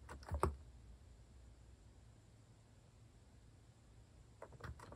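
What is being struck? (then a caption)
Plastic mechanical keyboard. A compact white plastic mechanical keyboard with cat keycaps is typed on rapidly with fingertips. A short cluster of quick, low, thocky keystrokes sounds at the start, followed by a long quiet pause with faint background hiss, and then another brief burst of keystrokes near the end.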